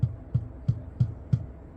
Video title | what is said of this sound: 스피커 선 정위상 역위상 알 수 있는 방법. 4세대 카니발 MK4 프론트 도어 스피커 교체 시 편리한 방법과 주의점ㆍ카오디오 라우러사운드 이동규 | 근데 이거는 무거운 소리고 음악적으로 좋은 소리가 아니다